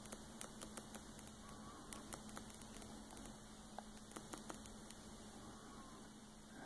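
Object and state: Glossy paper magazine pages.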